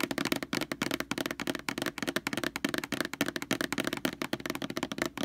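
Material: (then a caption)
Plastic. Long nails scratch and tap the glossy label of a large white plastic Lysol laundry sanitizer jug lying on its side. The result is a rapid, continuous stream of short, dry clicks and scratchy crackles with a hollow plastic body in the low mids and a bright, crisp top, each tap dying away almost instantly.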